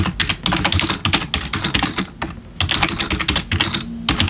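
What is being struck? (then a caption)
Plastic computer keyboard. Both hands type with their fingertips on the keys of a black plastic backlit computer keyboard. A rapid, uneven run of sharp, bright key clicks sounds, each decaying almost instantly, with a short quieter pause near the middle before the typing picks up again.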